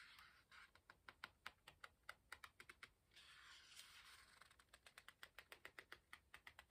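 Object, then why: Paper pages of a hardcover book. Fingertips rub and flick the paper edge of a page in an open hardcover book while turning it, making a quiet run of crisp, dry ticks. Midway, a longer soft papery rustle sweeps through as the page turns, then the rapid bright flicking resumes and speeds up toward the end.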